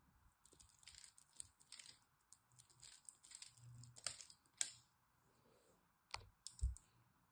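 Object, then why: Bar of soap. A blade scrapes a solid green bar of soap carved into cubes, crumbling pieces off. Dry, crisp scratches and bright crackling clicks come in short bursts, with a couple of sharper snaps and low soft thuds near the end as the pieces break away.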